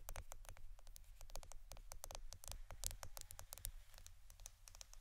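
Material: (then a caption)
Plastic. A roll of plastic Scotch adhesive tape is tapped and scratched with quick, quiet taps. The sound is dense, crisp and bright, with short clicking patters. A steady low hum sits underneath throughout.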